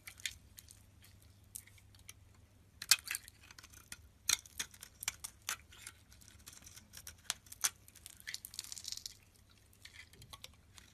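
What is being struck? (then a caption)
Bar of soap cut with a metal blade. A metal utility blade slices pieces off a solid yellow bar soap with a dusty surface, held in the palm. Many short, crisp, bright scraping cuts sound at uneven intervals over a quiet background, each stopping almost instantly.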